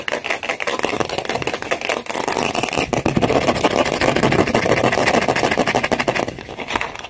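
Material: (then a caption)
Styrofoam. Long nails rapidly scratch and tap the surface of a large, white, solid styrofoam ball held in both hands. The result is a dense, continuous stream of dry, crackly scraping and quick taps with a bright, squeaky edge, steady for most of the clip before easing slightly near the end.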